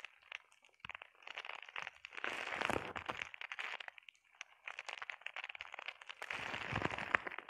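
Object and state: Plastic bubble wrap.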